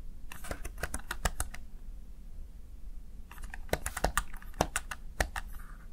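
A small backlit plastic Razer Tartarus Chroma gaming keypad has its keys pressed and tapped by the fingertips and nails of one hand. Two quick, irregular bursts of short, dry, bright plastic clicks are separated by a brief pause, with some taps sharper than others.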